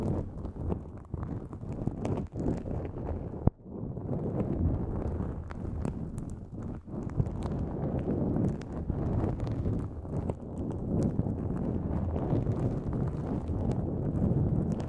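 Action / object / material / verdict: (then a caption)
scrape / nonwoven fabric drawstring bag / nonwoven fabric / none. Long nails scratch a pink-white, mesh-like nonwoven fabric drawstring pouch pulled over the microphone. The result is a dense, continuous, low, muffled rustling and scraping with occasional sharp clicks.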